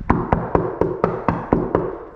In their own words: there's a bunch of bondo here sounds like wood